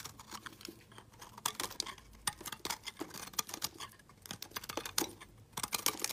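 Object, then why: Bar of soap cut with a metal blade. A solid white confetti soap bar with colored chunks is held in the hand and carved with a metal utility blade. The result is a rapid, irregular series of crisp, dry scraping and snapping cuts, bright and clicky like typing, each dying away almost instantly with very little low end.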